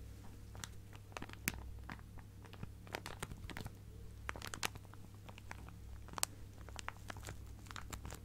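A clear plastic zip-lock bag full of fabric scraps is held sideways and squeezed and scratched by fingertips. It gives irregular, dry crinkles and sharp bright crackles, quiet overall, over a steady low hum.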